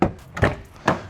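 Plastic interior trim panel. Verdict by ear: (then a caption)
Hollow. Plastic interior trim panels in a Toyota LandCruiser 70 Series are tapped three times, giving short, hollow knocks with a quick decay. One panel rattles, and the panels sound hollow because there is nothing behind them.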